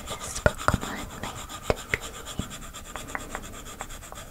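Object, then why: Plastic stylus tip on glass tablet screen. A plastic stylus tip rubs quickly back and forth over the glass screen of a large iPad lying flat while shading, with the left hand resting at the bottom edge. A soft, steady, rasping rub runs throughout, broken by short, sharp taps and scratchy strokes that stand out irregularly.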